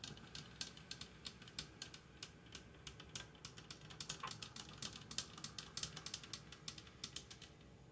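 Long dark-painted fingernails rapidly tap and touch the metal sides of a large hollow aluminum electric coffee percolator with a lid and glass knob, sitting on a tile counter and not yet percolating. The taps come as a quick, uneven stream of bright, dry clicks that die away almost instantly, over a low, soft background hum.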